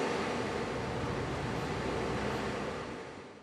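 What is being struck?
Nothing is struck.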